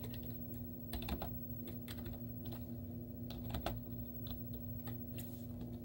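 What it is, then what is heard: Plastic laptop keyboard being typed on. Long teal-painted nails and fingertips type rapid taps on a white plastic laptop keyboard with cartoon stickers on its hollow keys. The sharp clicks of the keys, some louder than others, sit over a steady low hum.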